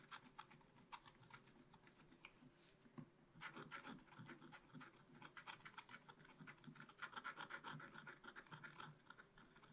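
A wooden stylus scratches mushroom shapes into the coating of a black-coated scratch-art card in a spiral book. Quick, irregular dry scratching strokes rasp steadily, with a short lull around three seconds before the scratching picks back up.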